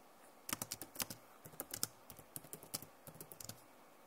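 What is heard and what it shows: Long nails and fingertips type on the keys of a backlit plastic laptop keyboard. Quick, bright clicks come in short bursts with brief pauses between them, each one dying away almost instantly. A faint low thump sits under some of the presses.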